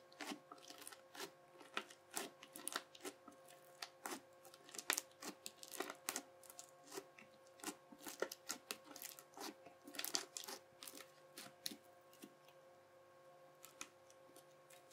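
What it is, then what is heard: Crunchy bead slime. A yellow plastic knife, held by the fingertips, presses and cuts into a flat sheet of soft translucent teal crunchy bead slime full of small clear beads on a white table. Quiet, bright crackling pops and crunches come in dense, irregular bursts over a faint steady hum, each snap dying away almost instantly.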